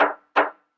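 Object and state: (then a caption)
Hollow-sounding concrete floor screed. An old concrete floor screed in a house under renovation is struck twice, giving two short, hollow-sounding knocks centered in the midrange with a brief ring. The hollow sound reveals the screed is not solid underneath, being made of several layers laid over decades like a sandwich.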